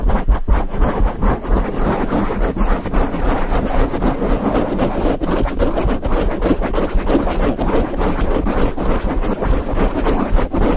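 Fingertips of both hands rapidly scratch and rub a grey foam windscreen covering a microphone head. The result is a dense, continuous, bass-heavy rumble of crackling scrapes at a steady loudness with no pauses throughout.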